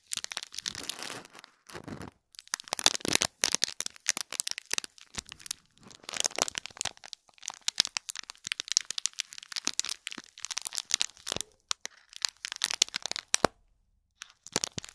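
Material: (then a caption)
Foil and plastic film. Fingertips and nails crinkle and scratch the plastic film and gold foil wrapping on a small gift box. Dense, bright crackling and rustling come in uneven bursts, with brief quiet gaps and almost no low end.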